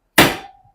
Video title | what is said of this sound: NTN Bearing Upgrade On Hyper 2020 Wheels. | it'll give a more of a dead sound when it's all the way down